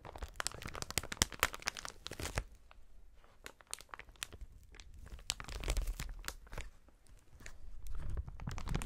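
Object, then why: Inflated plastic air-cushion packaging. Gloved fingers grip and squeeze a clear, inflated plastic air-cushion packaging strip with hollow cells. Dense crinkling and sharp crackles come with a low, muffled rumble, busiest and loudest at the start. The sound thins out in the middle, then swells again toward the end.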